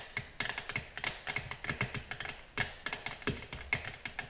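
Long natural nails tap a flat, solid, glossy black glass tabletop in a rapid, uneven run of light clicks. Each tap is a bright, short tick with a glassy ring near 2 kHz that dies almost at once.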